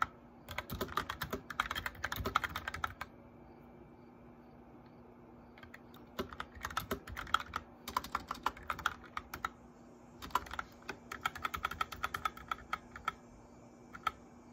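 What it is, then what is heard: Plastic mechanical keyboard being typed on. Fingertips and nails of both hands type on a white plastic mechanical keyboard with lit keycaps, producing bursts of quick, bright, clacky key taps. The typing stops for a pause of a couple of seconds early on and again briefly near the middle, with a faint steady low hum underneath throughout.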